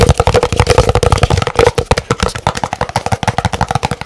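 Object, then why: Large paper cup. Fingernails rapidly tap a large, empty, white printed paper cup held in both hands, making about 26 fast, dry clicks in just over four seconds. Each tap is very short, with a hollow, low-mid body and a faint resonant tone near 500 Hz.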